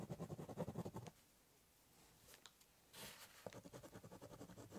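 A biro drags and scratches across the top of a hollow corrugated cardboard box while drawing, giving quick, low, hollow scratchy strokes in a steady rhythm. The strokes stop for nearly two seconds of near quiet with a few faint ticks. A brief, brighter rasp follows, and then the rapid scribbling resumes.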